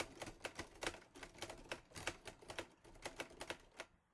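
Both hands type with their fingertips on the keys of a green metal Underwood Olivetti Lettera 22 portable manual typewriter. About nineteen quick, bright mechanical clacks of keys and type-bars striking come in an uneven rhythm, each snapping off almost instantly. The clip ends with a short quiet pause.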